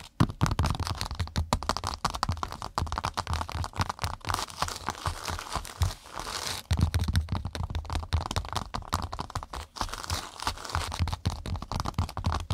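A cork pot mat is tapped and scratched rapidly with long nails. The result is a dense, continuous stream of dry crackling scratches over dull low thumps, with a brief lull around the middle.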